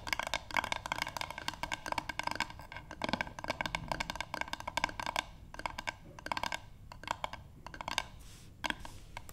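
A solid, light wooden paddle board is tapped rapidly with long pink nails on both hands. The result is a steady stream of dry, clicky taps with a woody knock around 945 Hz and bright nail ticks on top. Each tap dies away almost instantly, with brief pauses between bursts.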